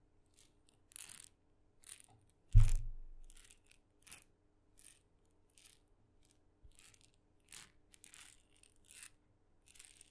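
A small, red-dotted painted wooden mini maraca, hollow and filled with beads, is tapped and scratched on its head with long fingernails. It makes short, bright, scratchy clicks and rattles in quick separate bursts, with one louder, deeper thump that fades out. The sound is quiet and close overall.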